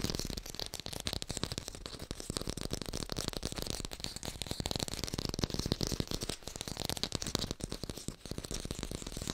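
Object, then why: Artificial plastic pear. Fast tapping on an artificial pear, recorded in hi-fi, makes a dense, continuous stream of short, dry taps. Each tap pairs a low thud with a bright click and dies away almost instantly, with no ringing.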